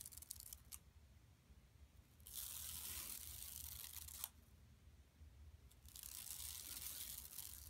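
Long nails scratch along the lower edge and the printed center of a flat, empty yellow woven plastic mesh tote bag lying on carpet. After a few faint early ticks, two long stretches of quiet, bright, hissy scraping are heard, separated by a sharp click and a softer pause.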